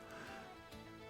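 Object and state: Nothing is struck.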